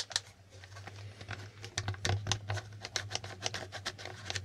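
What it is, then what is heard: Plastic board game tiles. Fingertips click and flip the red and blue letter tiles on a plastic Hangman board game while the board is moved in both hands. A rapid string of sharp, bright plastic clicks and taps is heard, each dying away almost instantly, over a steady low hum.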